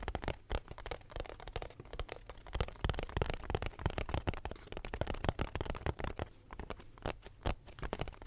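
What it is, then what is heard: Cardboard box. A small, empty, hollow cardboard box held close to the mic is tapped and scratched with fingertips and nails. The result is a rapid, uneven run of short, dry, low, hollow thumps mixed with soft scratchy crackling, each tap dying away almost instantly.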